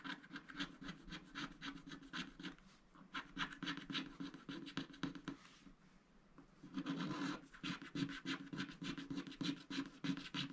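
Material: Coated paper.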